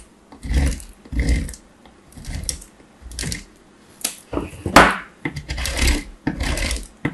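A small, solid piece of hard bar soap is held in the hand and rubbed rapidly over the perforated metal face of a box grater. Repeated grating strokes come in short bursts of dry, rasping scraping, each with a low thump and a bright, gritty edge.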